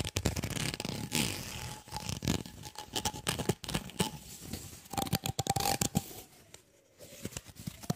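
A white, ribbed, flexible plastic tube, about 20 cm long, hollow and empty, is held in both hands and scratched and flexed along its ridges with the fingertips. The result is a rapid, irregular stream of dry clicks and rasping scrapes with brief louder bursts, a faint steady tone underneath, and a quieter pause near the end.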